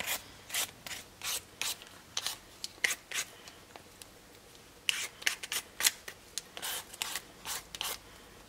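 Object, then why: Raw potato and vegetable peeler. One solid raw potato, held in the hand, is peeled with a black-handled vegetable peeler over a red cutting board. About 23 short, steady scraping strokes sound as bright, rasping swipes, each ending abruptly against quiet between strokes.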